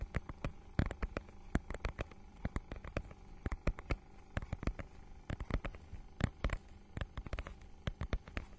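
Long nails scratch and tap on the holographic, scale-textured plastic cover of a notebook-sized book. Dozens of quick, sharp clicks and taps snap out irregularly, each dying away almost instantly, with softer scratchy rustling in between. A steady low hum sits underneath throughout.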